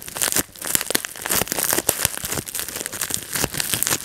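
Fingertips pinch-pop the bubbles of a clear plastic bubble wrap sheet and crumple it, giving a dense run of sharp, bright pops and crinkles over a continuous plastic rustle. The snaps are quick and dry, fading almost instantly, with little low-end weight.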